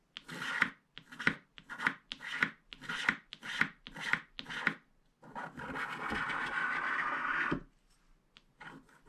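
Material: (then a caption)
Coated paper. A wooden stylus scrapes the coating of a flat black-coated paper scratch card, widening the teal area. A series of short, dry, papery scratching strokes gives way to one long continuous scrape, followed by a few faint scratches.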